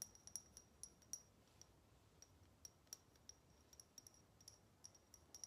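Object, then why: Small hollow chrome metal salt shaker. A small, hollow, shiny chrome metal salt shaker shaped like a cat is held in both hands and tapped and scratched with long nails. About two dozen quiet, bright metallic clicks and clinks ring with a high tone and die away almost at once, spaced irregularly over a soft background hiss.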